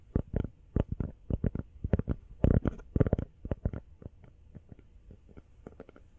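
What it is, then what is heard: Rubber phone case tapped with fingernails. A small, hollow, empty teal rubber phone case is held sideways and tapped fast with long fingernails. It gives a quick, uneven run of soft, dull, low-heavy taps with no ring. The taps are strongest in the first half and grow quieter toward the end.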